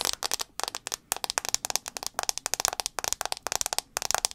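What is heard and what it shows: Long acrylic nails tap rapidly on the black glass screen of a handheld iPhone 6s, a small solid device held sideways with the screen facing out. About 24 sharp, bright clicks come in quick clustered bursts with brief pauses between them. The clicks are dry and stop instantly, with almost no low end.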